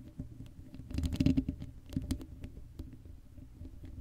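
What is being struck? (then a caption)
Metal mesh microphone grille. Long acrylic nails scratch across the hollow black metal mesh grille of an uncovered Blue Yeti microphone. The result is a soft, dense, low-heavy patter of short scratchy clicks with a faint hollow ring near middle C. It swells busiest and loudest around the first second and a half, then thins to sparser scrapes with a brighter tick near the end.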